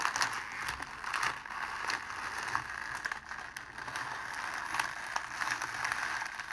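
A crumpled sheet of clear cellophane wrapped around a rose is held in both hands and squeezed and scrunched by the fingers. It gives a steady stream of dry, bright crinkling and crackling with quick snapping ticks and almost no low end.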